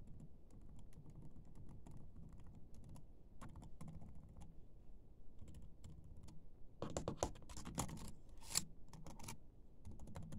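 Fingertips with short painted nails type and tap on the built-in keyboard of a silver laptop with black plastic keys. Quick, quiet, bright key clicks run throughout over a low rumbling background, with a denser, louder burst of clicks in the second half.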